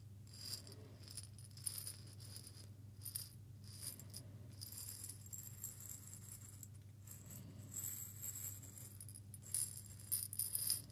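A small clear glass jar held in both hands is rotated and shaken, so a small amount of grains or seeds rattles inside, and fingertips may tap the glass. Quiet, bright rattling and trickling come in bursts over a steady low hum, growing busier toward the end.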